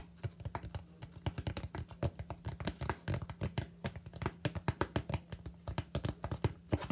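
A solid white expanded polystyrene (styrofoam) slab is held upright while the fingertips of both hands rapidly tap its flat face. Dozens of short, dull, dry taps come in an uneven stream over a faint steady low hum. The result is a muffled patter much like typing on a keyboard.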